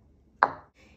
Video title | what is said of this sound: Make this for the Holidays! This chocolate dessert is AMAZING. Learn how it's done. | you can hear that it's actually hardened if i just tap it on to the counter